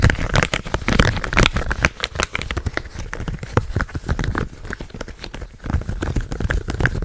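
Fingertips rapidly tap and click the buttons and hollow shell of a purple plastic game controller held close to the mic. A dense, uneven stream of short, dry clicks and crackly taps sits over a low, thumpy body with brief bright edges. Each tap dies away almost instantly.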